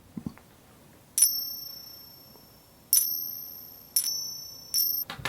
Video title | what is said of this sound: FAKE SILVER? 8 Ways to Test For It | this is going to be a little bit more distinctive because these are bigger